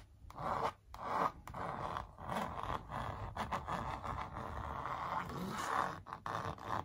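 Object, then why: Printed canvas on a wooden frame. Long purple nails trace and scratch over a sneaker print on a large, hollow-backed printed canvas stretched on a wooden frame. The result is a steady run of dry, rasping scrapes, bands of sound centered near 1 kHz with a few short pauses between strokes.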